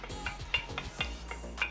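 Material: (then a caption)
Carbon fiber. A carbon fiber baseball bat with a forged design and a silicone rubber grip, light but weighted and solid at the tip, is knocked several times in quick succession. Each knock is a short, dry, bright tick with almost no ring, over a faint low hum. The knocking shows the bat is real carbon.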